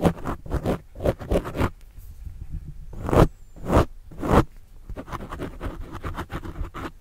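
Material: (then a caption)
Foam. A white plastic stylus tip scratches and writes over the top and sides of a soft, porous black foam windscreen on a desktop microphone. The result is close, rough scraping and rustling in bursts of quick strokes, with three longer, louder sweeps in the middle. The sound is deep and muffled.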